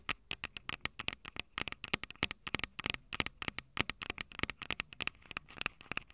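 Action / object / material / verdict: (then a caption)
tap / handheld recorder with metal mic capsules / metal / none. Long purple nails tap and scratch the metal mic capsule heads of a small Tascam DR-05 recorder, which has a plastic body and two metal capsules. About 35 quick, dry clicks and scratchy ticks come in an uneven, rapid pattern. Each hit is bright with a crisp upper edge, stops instantly with no ring, and sits over a faint background hiss.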